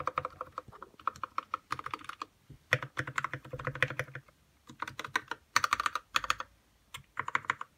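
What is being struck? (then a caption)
Plastic mechanical keyboard keys. Fingertips type on a white 60% RK61 mechanical keyboard with plastic keycaps and lubed red switches, producing about 45 quick keystrokes in bursts separated by brief pauses. Each stroke is a short, clacky tap that dies away almost instantly, centered around 1.2 kHz with a little bright click on top and light low-end thock.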